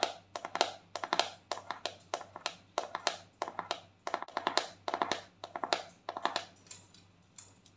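Long nails tap quickly on the lid and sides of a round, white, palm-sized plastic cosmetic jar. The result is a run of crisp, dry clicks with a hollow mid-range body and bright edges, each dying away almost instantly. The tapping comes in quick bursts and grows softer toward the end.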